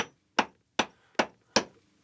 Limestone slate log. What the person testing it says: it becomes Hollow doesn't it starts to ring